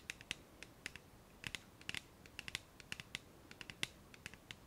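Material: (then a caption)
Plastic. Long nails tap and scratch the printed surface of a clear plastic cylindrical bottle labelled micellar water, with a white cap and filled with liquid. Some two dozen quiet, sharp, bright clicks come in an irregular rhythm, each dying almost instantly with very little low end, over a faint background hiss.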